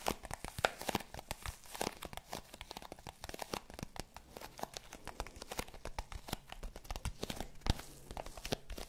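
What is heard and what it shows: Long pink nails scratch and tap across the surface of a small, hollow, rectangular black zippered hard-shell case with a faux leather covering, held up in both hands. Dense, dry, crinkly scratching runs throughout, with sharp taps standing out now and then. Each sound stops short with almost no ring.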